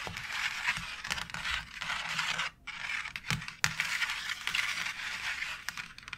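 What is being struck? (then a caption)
Embossed plastic faux brick wall panel. Long nails scratch and scrape across the textured bricks of a white embossed plastic faux brick wall tile. The result is a steady, bright, raspy scraping with little low end. It breaks into a short pause at around 2.6 seconds and is punctuated by a couple of sharp clicks soon after.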